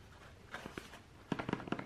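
A small rectangular printed paperboard box labeled "Weekly Pill Organizer," possibly holding a plastic organizer, is held up, laid on a table, then tapped and rubbed along its surface with fingertips. Seven soft, dull taps ring out over a faint rustling bed, two spaced early and a quicker cluster of five near the end. Each is a short, hollow knock with little high content that dies away almost at once.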